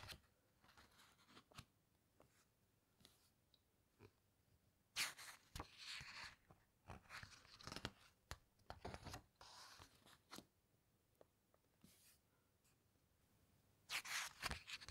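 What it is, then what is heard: Glossy book pages. Fingertips squeeze and rub the glossy photo pages of a large hardcover book and turn a page, making soft, irregular crinkles and bright, crisp crackles. Louder sweeping rustles of the page turning rise around the middle and again near the end against a quiet background.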